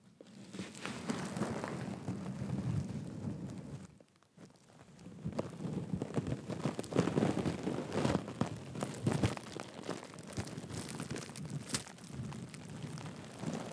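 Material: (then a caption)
Sequins. A thin brush strokes and scratches across the surface of a pink sequin and bead handbag, producing a dense, rustling, crackling texture of many small ticks. The scratching runs steadily, dips to near silence around four seconds, then resumes with more distinct clicks.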